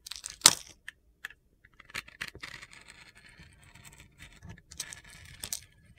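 A metal box-cutter blade shaves and scrapes the crust off a solid pink glitter-coated soap bar held in a hand with long nails, exposing the white soap underneath. Crisp, high-pitched scratchy scrapes and gritty crackles come in short bursts with quiet gaps, and one sharp loud scrape stands out near the start.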